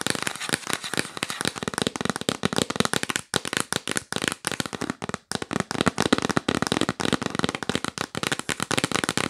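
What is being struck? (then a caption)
Cardboard box. A hollow yellow printed cardboard gift box, held upright, is tapped fast with long nails. The result is a rapid, dense stream of dry, crackly clicks with a bright edge and no ring, broken by brief pauses around three and five seconds.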